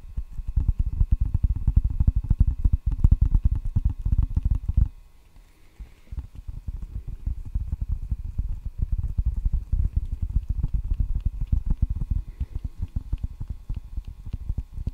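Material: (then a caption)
Rubber, wood. Several fingertips tap rapidly on the red rubber face of a solid table tennis paddle, a thin wooden blade held flat in front of the microphone. The taps are dull, deep thuds that stop almost instantly. They come in dense, irregular flurries with a brief quiet break around five seconds before the steady tapping resumes.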